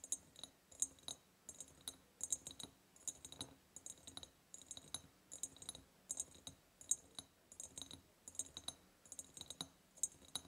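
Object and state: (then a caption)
Ribbed glass jar tapped with fingernails. A large, hollow, ribbed clear glass jar, decorated with a ribbon and a ceramic heart, is tapped rapidly with long purple nails near its top and lid. The result is a steady stream of sharp, bright clicks in quick clusters, each dying away almost instantly, with a faint glassy high ring.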